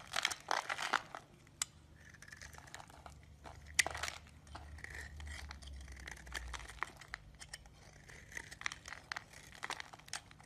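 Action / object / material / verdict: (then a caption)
scrape / solid bar of soap / soap / none. A metal utility blade shaves the edge of a solid yellow bar of soap, leaving crumbs around it. A dense burst of crisp, bright scraping and crinkling cuts at the start gives way to sparser sharp clicks and scrapes over a faint steady tone near 2 kHz and a low hum.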